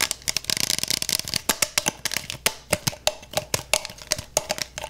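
A clear plastic, beer-mug-size freezer mug with a handle and gel filling inside its double wall is tapped and scratched on its outer wall with fingertips and nails. The sound starts as a fast, dense flurry of bright scratchy clicks, then settles into sharp, dry taps, some carrying a faint hollow tone around 600 Hz. The hits die away almost instantly.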